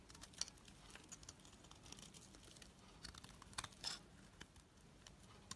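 A blade scrapes and shaves a solid, creamy white bar of soap held in the hand, with bits of dark coating still on it. The result is a quiet, dry, crisp scraping and crinkling that sits mostly in the high range, with a few brighter, sharper cuts standing out.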